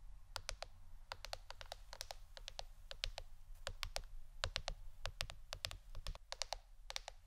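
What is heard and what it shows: A plastic board shaped like a shirt is tapped with the fingernails in quick, irregular bursts. Each tap is a short, dry, bright click that dies away almost at once, over a steady low hum in the background.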